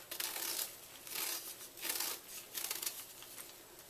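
A knife blade scrapes down the face of a solid white gym chalk block held in the palm, sending crumbly chalk flakes falling. Repeated dry, bright scraping strokes swell and fade with a gritty crackle, with almost no low end.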